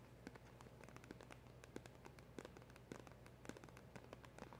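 Long acrylic nails tap quickly on the front of a small, hollow black cardboard packaging box with a round emblem sticker. The result is a rapid, uneven run of short, dry clicks and soft hollow taps with almost no ring, over a low, steady hum.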